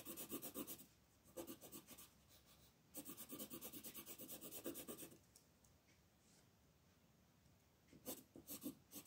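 A dark blue wooden colored pencil shades a flat paper coloring page lying on a table, making rubbing, scratching strokes. The rapid back-and-forth rasping comes in four bursts: a short one, a second short one, a long stretch in the middle, then a final flurry, separated by quiet pauses. The scratching has a dry, bright texture.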